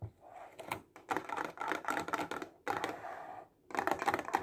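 A clear plastic box full of highlighters, held close to the camera, is tapped quickly with fingertips and nails. Dense bursts of light, hollow plastic clicks with a midrange tone run in quick flurries, separated by brief pauses.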